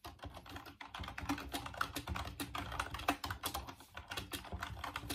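Fingertips type steadily on the keys of a full-size, off-white plastic Dreamcast computer keyboard. The result is a fast, continuous stream of short plastic clicks and clacks, with a hollow low body under bright key taps that die away almost at once.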